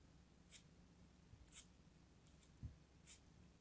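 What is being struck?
Kinetic sand chunk cut with a metal knife.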